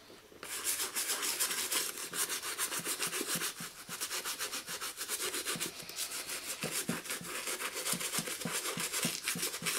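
A black and green leather high-top sneaker, hollow and held upright by one hand, has its soapy toe and upper scrubbed back and forth with a toothbrush. Bright, hissy bristle scratching repeats in quick strokes of about three to four per second, with a faint low thump at each change of direction. The scrubbing continues steadily throughout the clip.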